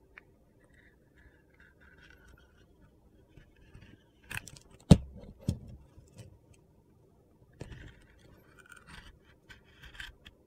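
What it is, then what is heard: Blade scraping a glitter soap bar. A metal utility knife blade carves thin strips off a handheld rectangular bar of solid white soap with yellow and orange glitter. Quiet, soft scraping and cutting sounds are broken by a few sharper, louder cuts near the middle, then trail off into lighter scraping.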